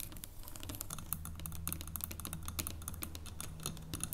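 Long painted nails tap and scratch rapidly across the segmented top of a solid dark chocolate bar lying flat on a wooden table. The result is a quick, dense patter of crisp, bright clicks, with faint scratching in between, over a steady low hum.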